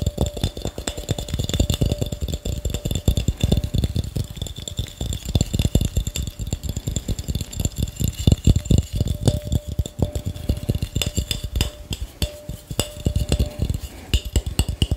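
An empty, hand-sized clear glass mason jar, held up close to the microphone, is tapped and clinked very fast with fingertips and nails on its glass sides. The sound is a dense, continuous stream of short, dull knocks with a heavy low body. A faint steady tone rings under them, with thin bright glassy clinks above.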